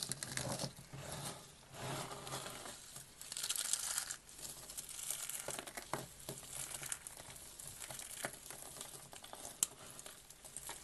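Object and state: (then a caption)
Dry, brittle soap flakes. Fingertips with short nails press, rub and scoop a pile of brittle pink dry soap flakes from a crushed soap rose, crunching them in both hands. Dense, bright crinkling and crackling comes in uneven bursts with a few sharper snaps, mostly in the high range with little low end.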